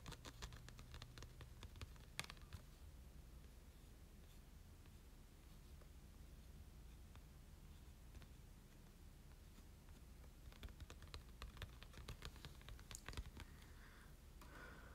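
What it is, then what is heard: Glossy cardstock card. A small printed Shiny Silvally promo card made of glossy cardstock is held in the hands and tapped and scratched with short nails, then handled. Quick, dry, bright clicks and scratchy taps come in bursts at the start and again near the end, with a quieter stretch of faint scraping between. A low steady hum sits under it throughout.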